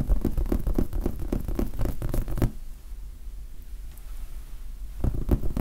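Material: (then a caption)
Foam. Fingertips scratch and tap a large red foam sponge die, making a rapid run of soft, muffled, low thuds and scuffs. The sound pauses in the middle to a quiet hiss, then a few more taps return at the end.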